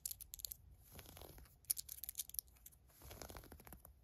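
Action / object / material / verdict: scrape / fleece sweatpants waistband and drawstring / fleece fabric / none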